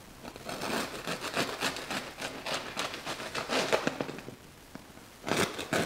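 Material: Bread crust.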